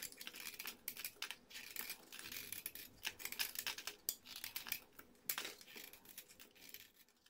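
A small metal blade shaves and scrapes the surface of a solid, hand-sized orange bar of soap held in fingers with red-painted nails, throwing off flaky curls. Dense, crisp, bright scraping and crinkly shaving strokes follow one another quickly at a quiet level, with a few sharper accents. There is almost no low end.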